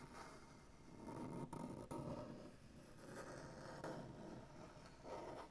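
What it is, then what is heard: Maple butcher block tabletop. Fingernails tap and scratch across a solid maple butcher block tabletop, and fingers scratch at a crack in the wood. The sound is a quiet, continuous dry rasp, mostly low and mid in tone, broken by a few sharper, brief taps that die away quickly.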